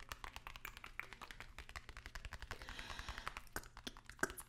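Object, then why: Narrow cardboard box. A long, narrow, hollow white cardboard product box, held upright in one hand, is tapped and scratched rapidly with the long nails of the other hand. Quick, dry, quiet clicks patter over a faint low hum, with a brighter scratchy rasp in the middle. Each tap dies away almost instantly.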